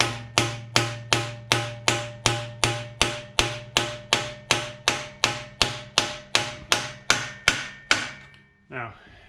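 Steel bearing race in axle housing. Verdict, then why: Seated. A new steel bearing race is hammered into an axle housing, with the hammer striking the outside of the race in about twenty sharp, evenly paced metallic blows with a bright ringing tone and a low hum underneath. The pitch of the hammering rises slightly once the race bottoms out, showing it is fully seated.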